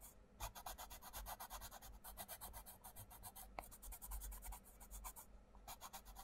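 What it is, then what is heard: Pencil colouring on a paper page. A wooden coloured pencil scratches and rubs across a mandala page of an open paperback colouring book lying on a table, while the other hand holds the page flat. Quiet, rapid back-and-forth strokes produce a steady, bright, papery scratching over a soft low rumble, with one sharper tick partway through.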